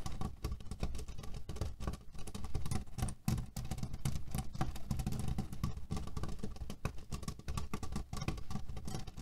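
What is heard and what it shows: Fingernails tap and scratch quickly at the top edge of a cotton canvas pillow filled with cherry pits. A dense, muffled, low-pitched patter and rustle runs almost continuously, with only a brief dip just past three seconds.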